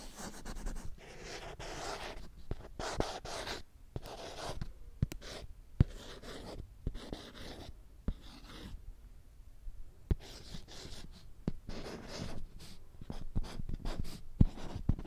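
A marker tip is drawn across a small handheld children's whiteboard, a thin flat board with a printed alphabet and a green plastic frame held up while being written on. Short bursts of squeaky, dry-erase scratching alternate with brief pauses. Occasional sharp clicks punctuate the strokes.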